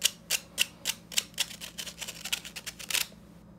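Fingertips tap and scratch the fine metal mesh and plastic rim of a small, empty yellow plastic hand tea strainer. The result is a fast, uneven run of dry, bright clicks and scratchy ticks that die away almost instantly, with some taps carrying a thin metallic ping. The taps thin into lighter, quicker scratches before falling silent at the end.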